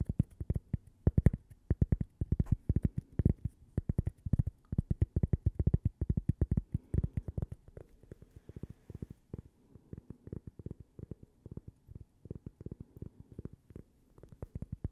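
A small, thin, solid toaster-shaped cork coaster with a logo is held in the hands and tapped rapidly with long purple fingernails. The taps are dull, low, short thuds with no ring, loud at first and growing softer and lighter after about eight seconds.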